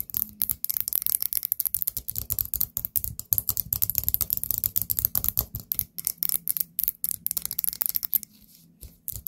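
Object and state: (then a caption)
Ceramic pumpkin candle holder. A small orange ceramic pumpkin-shaped candle holder with its lid removed and filled with wax is tapped and scratched with long painted nails. A dense run of quick, sharp clicks and bright scratchy strokes comes with a soft low thud beneath, and the clicks die away almost at once. The activity thins out and quiets briefly near the end.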